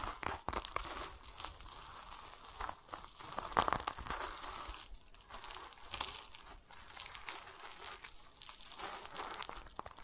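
Fingertips scratch and rub a yellow-green plastic mesh net over the rind of a large, solid whole pomelo while a palm presses on it. The result is a steady stream of dense, bright crinkling and scratchy rustling with quick, short-lived bursts and very little low end.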